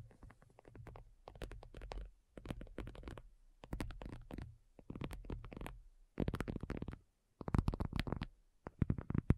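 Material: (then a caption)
Faux leather. Long nails from both hands tap and lightly scratch a thin, hollow-backed black folding faux leather iPad cover lying flat. Quick, soft patters of muffled, hollow-sounding taps come in short bursts separated by brief pauses. Each tap is dull and low, dies away almost instantly, and carries a faint scratchy edge.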